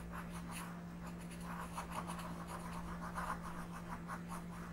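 A pink colored pencil is rubbed slowly across a flat paper coloring book page while coloring. Soft, scratchy strokes rise and fall in quick repeated passes, with a steady low hum underneath throughout.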